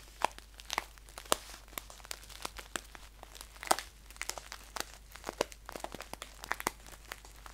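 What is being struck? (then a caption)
Paper tea pouch. Fingernails tap and scratch the front and top fold of a green paper tea pouch held upright. Dozens of sharp, dry clicks and crinkly scratches ring out bright and crisp, each stopping at once, over a faint steady low hum.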